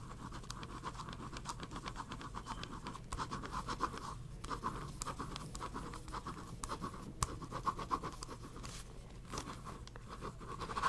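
A pink pen scratches steadily across a small paper notepad held in one hand while drawing. Quick, repeated scratchy strokes centered around 1 kHz run throughout, with a few sharper, brighter ticks over a low, steady rumble.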